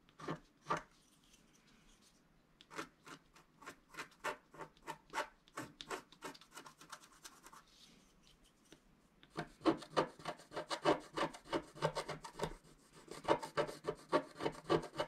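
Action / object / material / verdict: scrape / coated scratch-art card scratched with a wooden stylus / coated card / none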